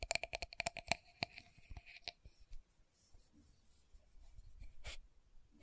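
Long nails tap and scratch the dark purple lid and clear pinkish body of a small, round plastic loose powder jar. Thirteen quick, sharp taps in the first two seconds each give a brief hollow plastic ping around 690 Hz with bright overtones. Quieter, faint scratching follows, with one brighter scrape near the end.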